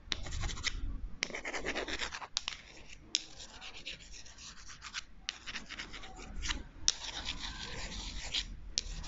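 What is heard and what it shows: Two long, thin, solid wooden chopsticks, one held in each hand, are crossed and scratched and rubbed against each other close to the microphone. Bursts of dry, bright, raspy friction noise come and go in uneven strokes over a low, soft rumble, with short pauses between some of the rubs.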